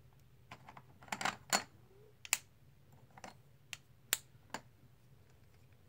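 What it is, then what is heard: Plastic poker chips clicking. A small stack of black and white plastic composite poker chips, solid discs held in the hands with their box in the background, is riffled with fingertips and nails so the chips click together. About ten short, bright clicks and clacks sound at irregular intervals, some in quick clusters, each dying away almost instantly over a faint steady hiss.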